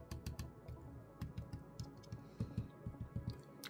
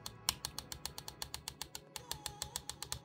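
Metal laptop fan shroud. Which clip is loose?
The second.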